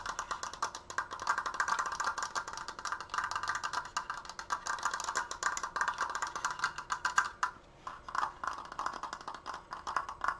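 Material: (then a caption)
Wood. Fingernails tap rapidly on the apex and crossbar of a large, open, triangular triforce frame made of wooden slats and held upright. The result is a dense stream of short, dry, hollow clicks centered around 1–1.6 kHz, with a brief pause about three-quarters of the way through before the fast tapping resumes.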